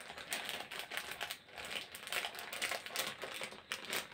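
A printed plastic snack packet is crinkled and scratched with the fingertips close to a yellow microphone. It makes a steady run of bright, crackling crinkles and scratchy rustles, mostly in the high frequencies, with quick bursts that swell and fade.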